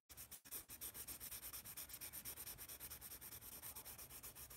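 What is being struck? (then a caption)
Wooden pencil on a paper sketch pad. A yellow wooden pencil shades and scratches rapidly across the surface of a large white paper sketch pad held upright. About 33 quick back-and-forth strokes make a steady, rhythmic scratchy rasp that is mostly bright and hissy, with a soft low rumble underneath.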